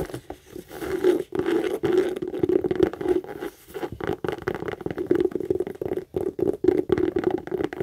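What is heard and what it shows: Long acrylic nails quickly scratch and tap the lower front panel of a hollow, medium brown pebbled-leather Michael Kors tote. The result is a dense run of dry, scratchy taps and rasping strokes centered on a steady midrange tone around 355 Hz, with brief pauses between bursts and no ring.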